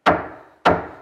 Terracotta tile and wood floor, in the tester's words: that's hollow, and you can hear that there's a void below it